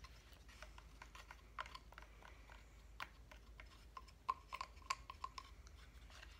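A flat, cut-out reindeer decoration made of solid light wood is held in the hand and tapped with fingernails. Quiet, irregular, dry clicks come in a loose rhythm, with a slight woody ring around 1 kHz and a few louder taps near the end.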